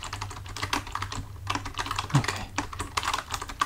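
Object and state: Plastic computer keyboard being typed on.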